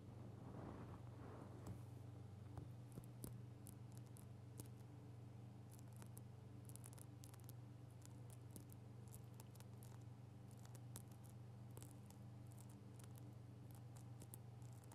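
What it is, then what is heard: Rubber squishy shark toy. A grey, hand-length soft rubber shark toy, squishy with a likely gel or foam filling, is held in both hands above the recorder and squished and scratched with long painted nails. Quiet, soft squishing and rustling sit over a steady low hum. Short, bright ticks and scratches are scattered throughout.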